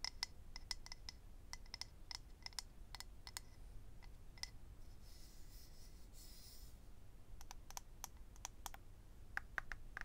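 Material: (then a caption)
Acrylic. Fingernails tap and scratch on a small, hollow, rectangular clear acrylic eyelash case holding rows of lash strips. Quick, sharp, bright clicks come in bursts over a low, steady background rumble. A soft, hissy scratching passage sits in the middle.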